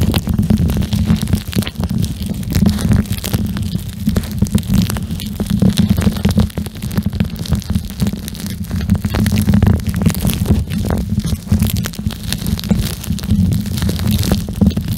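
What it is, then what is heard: Gel bead eye mask squeezed and scratched. A pink gel bead plastic eye mask is folded against the mic and squeezed and scratched with the fingertips and nails of both hands. The result is a steady, bass-heavy rumbling texture with a droning tone around 215 Hz, broken by a dense stream of short crackles and scratchy ticks that flicker up into the high range.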